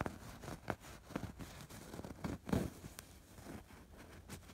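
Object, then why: Embroidered fabric pillow. A fingertip and nail scratch along the stitched borders of a soft stuffed fabric pillow with a raised embroidered pattern. The result is quiet, dry, scratchy rustling in short strokes, with soft low body and little brightness.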